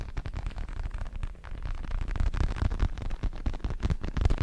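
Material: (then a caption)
Synthetic leather. Fingertips tap and scratch the red leatherette surface of a large, padded, red and black Everlast synthetic leather boxing glove. A dense, steady run of soft, muffled thumps and rustling scratches sits almost entirely in the low end, with each touch dying away almost instantly.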